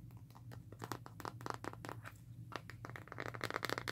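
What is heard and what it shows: Long nails scratch along the ridged plastic back of a smartphone in a black rugged plastic and rubber case and tap its surface. The result is a quick series of short, dry clicks and scratchy crinkles that grow brighter and denser toward the end, over a steady low hum.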